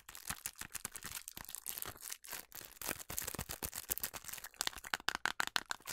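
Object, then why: Small paperboard box. A small printed paperboard Club House food colour box is held up and tapped and scratched with long nails. The result is a rapid, irregular run of dry, crisp clicks and scratchy rustles that are bright and papery, with very little low end.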